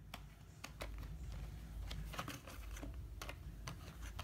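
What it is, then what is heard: Cardboard box of paint pots. Fingertips and short nails quickly tap and scratch a small closed printed cardboard box of tempera paint holding plastic paint pots, then the box is turned over in the hand. Sharp, dry clicks and brief scratchy crackles stand out over a steady low rumble, each tap dying away almost at once.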